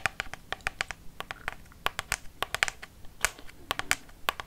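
Long fake nails tap a hollow White Dove plastic lotion pump bottle, about 20 cm tall, in a quick irregular run of 24 light taps. Each tap is a sharp, bright, hollow click that dies away almost instantly, with a faint scratchy rustle between taps.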